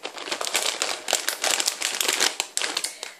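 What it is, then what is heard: Plastic snack bag of popcorn. A large clear printed plastic snack bag full of salted popcorn is held in both hands while fingertips and short nails squeeze and crinkle it. The result is a steady stream of bright, crackly crinkling bursts with no low rumble.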